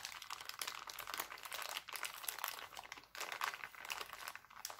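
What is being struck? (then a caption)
Thin clear plastic cellophane bag. An empty, thin, clear heart-printed cellophane bag is pinched and crinkled by hand, producing a dense, continuous stream of bright, crackly rustling. It has almost no low end and brief pauses near 1.8 and 3.1 seconds before the crinkling resumes.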